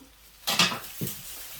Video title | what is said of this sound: Propagate with Me! Chop and Prop Pothos & Tradescantia - Spring 2022 | Can you hear how crispy?